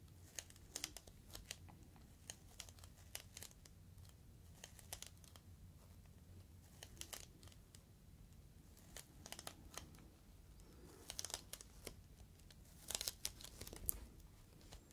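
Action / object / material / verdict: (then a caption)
scrape / inflated plastic air-column cushion / plastic / none. Fingertips crinkle a clear, inflated plastic air-column cushion bag close to the microphone. Many sharp, bright crackles and crinkles come in quick, uneven bursts over a low, steady hum, with louder clusters toward the end.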